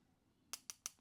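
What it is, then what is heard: Metal watch part. A pen tip taps four times on the metal part of a G-Shock GM2100YM-8A watch after about half a second of near silence. Each tap is a bright, high, glassy click with almost no low end, dying away almost instantly, which marks the part as metal.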